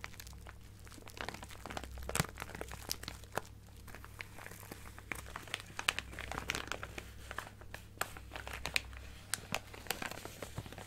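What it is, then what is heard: Plastic bag of sequins, crinkled and scratched. A clear plastic bag of colorful sequins, held in one hand, is crinkled and scratched with long painted nails. Dense, crisp crinkling and sharp bright clicks come in quick, uneven bursts over a steady low hum.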